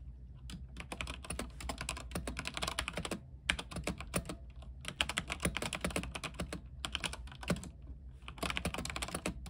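Both hands type quickly with their fingertips on a backlit mechanical keyboard with white plastic keycaps on an aluminium frame. Rapid, bright, clacky keystrokes come in dense bursts with brief pauses, over a steady low hum.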